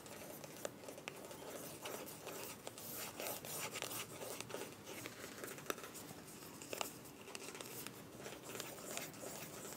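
Long nails tap and scratch a small, filled white plastic cosmetic tube with a mint cap. It makes a steady, bright, crinkly scratching with sharp, quick clicks scattered throughout. The taps are dry and die away almost instantly.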